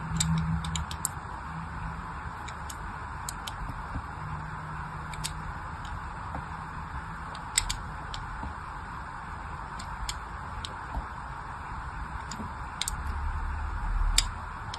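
A thin blade scratches shallow lines across the surface of a solid, hand-sized pink-and-white striped bar of soap held in one hand. It makes quiet, sharp, bright ticks and scrapes at irregular intervals over a steady hiss and low rumble, with a few louder clicks standing out.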